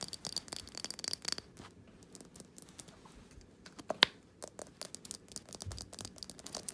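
Long painted fingernails tap and scratch the bottom, label and sides of a small, solid glass jar candle filled with cream-coloured wax, its glass lid sitting separately on the table. Quiet, bright clicks and dry scratchy rustling come in quick, uneven bursts, with one sharper, ringing glassy tap standing out partway through.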